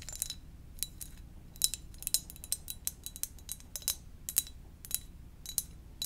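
Gentle tapping on a donut-shaped ceramic mug produces a quick, uneven series of bright, high clinks with very short ring. The taps come in irregular clusters over a low background hum.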